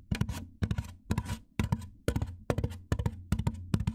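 Fingernails tap and scratch the top edge of a large white hollow styrofoam box, making quick clusters of dull, hollow low thumps mixed with brief bright, scratchy rasps. The taps come in a loose, uneven rhythm and die away almost instantly, with no lingering ring.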